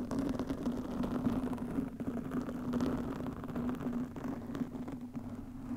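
Long nails scratch a soft, porous black foam windscreen fitted over a microphone. The result is a dense, continuous crackling rustle with a steady low hum underneath, holding at a fairly even level throughout.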